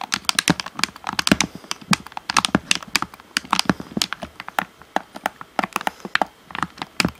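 Fingertips tap and click on the d-pad and shell of a hollow black plastic Xbox One controller. The result is a rapid, uneven run of short, dry, bright plastic clicks and taps, each dying away almost instantly, with a faint low knock under some taps.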